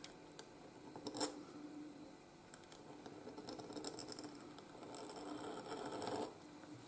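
A steel pointed nib in a wooden holder scratches across a flat white gridded paper sheet while writing letters. Quiet, bright scratchy strokes are broken by a sharper tick near the start. A longer, steadier scrape follows toward the end before it fades back to faint scratching.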